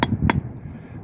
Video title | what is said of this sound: Backyard Maple Syrup Simple and Easy Part 1 - Tapping the Tree(s) on Your Property | When you hear a thud, you know she's in tight.